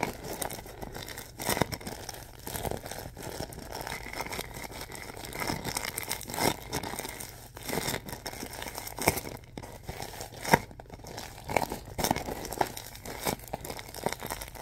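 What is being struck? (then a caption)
Plastic film bag filled with soft stuffing. A clear plastic film bag filled with white stuffing is twisted and squeezed in the hands, so the film crinkles. Dense, dry crackling and rustling runs through the whole clip, with sharper, brighter bursts standing out now and then over a steady soft hiss. Each crackle stops almost instantly, with no ring after it.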